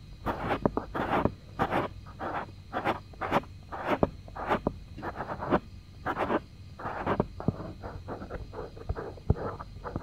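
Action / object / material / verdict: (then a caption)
scrape / silicone ear of a binaural microphone / silicone / none. Fingertips and short nails scratch and rub the soft silicone ear of a white 3Dio binaural microphone, a solid object about the size of a hand. The result is a steady run of short, close, scratchy rasps and rubbing bursts centered in the mids, broken by sharp little clicks and faint brighter crackles. The sound stays dry and without echo throughout.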